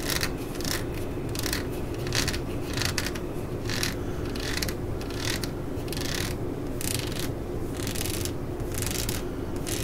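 Long nails scratch back and forth along the ridges of a ribbed solid rubber hammer grip resting on a mat. The result is a steady series of raspy, ratchet-like scrapes, with bright bursts on each stroke over a constant low rumble.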